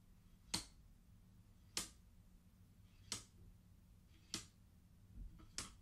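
The fingertips of one hand slide colored wooden beads along the top rows of a wooden abacus, knocking them against each other. Five sharp, bright wooden clicks sound at uneven intervals over a quiet low hum. Each click dies away almost at once.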